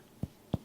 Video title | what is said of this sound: Pulmonary Exam for Medical Students | the hollow sound and feel when we tap on an air filled chest is called resonance